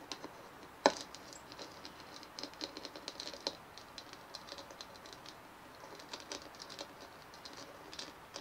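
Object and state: Hollow plastic dimpled ball.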